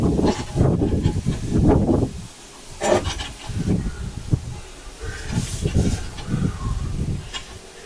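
The rear rubber tire of an old Cub Cadet tractor, filled with fluid for weight by a previous owner, is moved, and the fluid sloshes inside it in low, rolling surges with soft hissy wash. The sloshing rises and falls in several swells, with one sharp tap partway through. Rusty fluid later coming out of the tire confirms it holds fluid.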